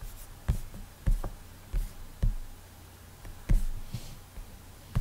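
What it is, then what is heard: Fingertip on tablet glass screen. Fingertips rub back and forth across the flat glass touchscreen of an iPad while drawing in Ibispaint, making repeated strokes. Six short, dull, low thumps sound at irregular intervals, each dying away quickly, with faint scratchy swishes between them over a quiet background.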